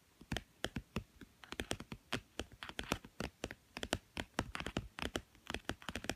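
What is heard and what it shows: Fingernails rapidly tap and scratch the blue glossy cover of a small, thick, solid children's board book with stacked cardboard pages, lying on a woven mat. The result is a quick, irregular string of short, dry clicks with bright, scratchy edges, each fading almost instantly.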